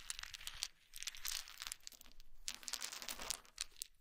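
Many small wooden dowel pins lying on a blanket are gathered, rubbed together and dropped by hand. The result is a steady stream of dry, bright clicking and rustling, mostly high-pitched, with quick little clacks that fade almost instantly.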